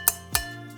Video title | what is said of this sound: ulanzi lt028 first impressions | it's like metal you can can hear that sound